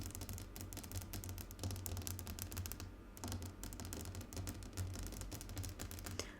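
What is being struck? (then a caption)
Glass tabletop tapped with fingernails. Fingernails tap rapidly and continuously on a glass tabletop, producing a dense stream of sharp, bright clicks with very short decay. A steady low hum sits underneath, and the tapping briefly thins out near the middle before resuming at the same quick pace.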